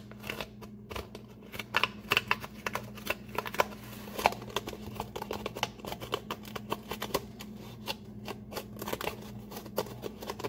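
A medium brown kraft paper shopping bag with twisted paper handles, hollow and apparently empty, stands upright on a countertop while fingertips scratch and tap its paper sides. The result is a dense run of sharp, bright crinkling and tapping clicks over a steady low hum.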